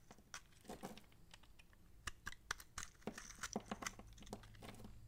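A utility knife blade slices and scrapes the bumps off a solid, bumpy, dry purple massage soap bar held in the palm, breaking them into crumbly pieces. It makes a string of dry, crisp cracks and crunchy snaps with brief scraping between them, each cut sharp and bright with almost no ring. A faint low hum runs underneath throughout.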